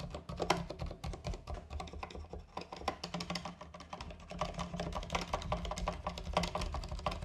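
Fingertips type steadily on a compact 60% plastic mechanical keyboard with white and green plastic keycaps on a white case, resting on a fabric surface. A continuous stream of short, crisp key clacks with a low, muted thock beneath each press, each keystroke dying away almost instantly.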